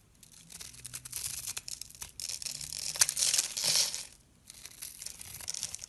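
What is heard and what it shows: A palm-sized solid pink bar of soap, pre-scored in a grid pattern and held in the fingers, is scraped with a metal blade so small cubes flake off. The sound is a quick, uneven series of dry, bright crackling scrapes with almost no low end. It swells louder around the middle, drops nearly silent briefly near the four-second mark, then resumes more softly.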